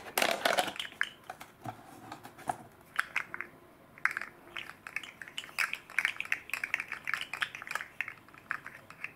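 A hand-sized red and green segmented fidget slug made of hard plastic with hollow jointed rings is held in both hands and flexed and bent with the fingertips, while a second slug lies unused on the table. The segments clatter against each other in dense bursts of short, dry, bright clicks centered around 2.2 kHz, with no ringing and quiet pauses between flexes.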